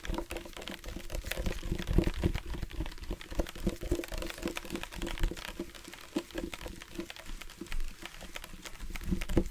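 Fingertips tap along the body of a tall, hollow black plastic drinking bottle with a flip cap, held in both hands. The taps come fast and irregularly, giving dull, low, hollow knocks with a faint tone near 340 Hz that dies away almost at once.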